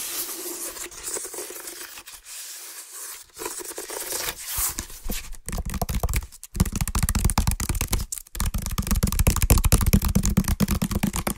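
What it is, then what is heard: Woven water hyacinth basket. Fingertips and nails scratch the side and bottom of a medium, hollow, empty woven water hyacinth basket. It makes dry, bright rustling and scraping strokes. The second half has faster, denser scratching with a low, hollow resonance from the empty basket.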